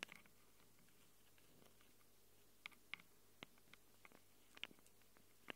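Long acrylic nails scratch and tap the metal mic capsules of a small black handheld Tascam recorder. Sharp, bright clicks and scrapes come in sparse, uneven bursts, mostly in the second half, over a quiet, steady low hum. Each tick is very short and dry, with almost no ring.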